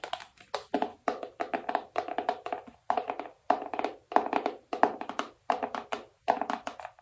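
Long nails tap the lid of a small, hollow black cardboard iPhone box with a phone image on the lid. The taps come in quick bursts and clusters across the clip. Each is a short, dry, hollow knock with a mid tone near 720 Hz and almost no ring.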